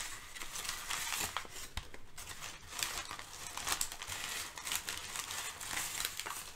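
Layered sheets of thin brown kraft packing paper are shifted and crinkled by hands with long nails. The result is a steady, bright crackling and rustling with frequent sharper crinkle bursts, little low end, and quick, dry decays.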